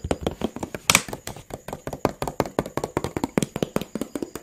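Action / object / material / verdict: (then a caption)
tap / plastic water bottle / plastic / none. A hollow, clear PET water bottle with a teal label and cap is held horizontally and tapped with fingertips and nails. Around twenty quick, dry taps come in a steady rhythm, each with a soft low thud and a bright plastic click. One sharper, brighter tap stands out near the one-second mark.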